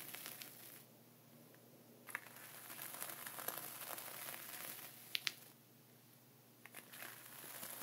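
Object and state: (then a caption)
Plastic zip bag of sea salt. A dark wooden pointer scratches and traces lines through a flat layer of sea salt inside a clear plastic ziploc bag, with the other hand resting on the zip edge. Bright, crinkly plastic rustling and gritty scratching come and go, with quieter pauses between strokes. A few sharp, high ticks stand out, especially near the middle of the clip.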